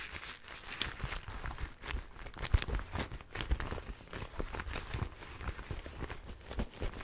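Fingertips rub and scratch the armoured back and leather of a single empty black and red leather motorcycle glove held in the hands. The result is a soft, steady run of crinkly rustling and bright scratches over low, dull bumps, with no ring after each touch.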